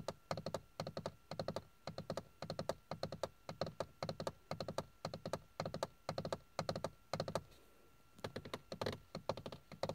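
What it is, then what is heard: Hollow plastic dashboard panel. Fingertips and nails tap and scratch a hard, hollow, grained plastic dashboard panel with carbon-look trim on a car's passenger side. Quick, dry clicks come in bursts with a clear pause near the 8-second mark, and a faint steady tone hums underneath.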